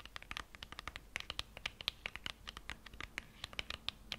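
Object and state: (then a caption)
Cardboard lipstick box scratched. A small, slim, hollow gold-printed cardboard lipstick box labeled "Matt Longwear" is held in both hands close to a fluffy microphone and scratched along its surface with fingernails and fingertips. The result is a quick run of short, dry, bright scratching ticks that stop almost instantly, with little low end.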